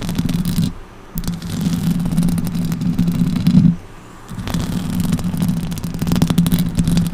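Long orange acrylic nails on both hands scratch up and down a silver microphone's hollow metal mesh grille. The result is a dense, low, rumbling scrape with a steady hum-like tone near 156 Hz and little high end. It comes in three continuous bursts split by two brief quiet pauses.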